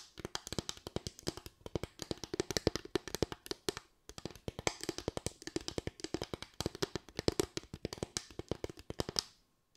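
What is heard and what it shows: Long white acrylic nails tap rapidly on a small board of parallel bamboo slats with gaps between them. The result is a dense run of dry, clicky taps with a hollow woody tone and bright edges, each dying away almost instantly. There is a brief pause near the four-second mark before the tapping resumes and then stops just before the end.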